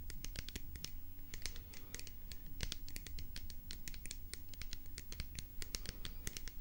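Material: Plastic.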